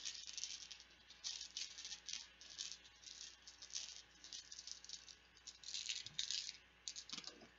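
Plastic Bananagrams word game letter tiles are rattled and shaken loudly, producing bursts of bright, clattering high-pitched clicks that come and go in uneven waves for several seconds.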